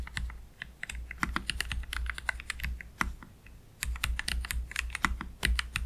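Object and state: Low-profile mechanical keyboard being typed on.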